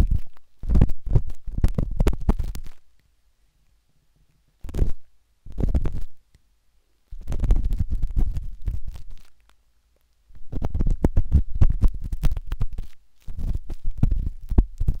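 A metal-tipped dot stick with a wooden handle scratches inside the soft, hollow canal of a pinkish-white silicone binaural microphone ear. Close, muffled, rumbling scrapes and rapid ticking come in bursts, almost entirely low in pitch, separated by short stretches of silence.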